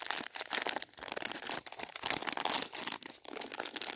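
A flat, filled Swizzels Double Dip sweet packet made of plastic film is held in both hands while fingertips with painted nails crinkle and rub the wrapper. Bright, dense crinkling comes in uneven bursts with short dips in between, with almost nothing in the low end.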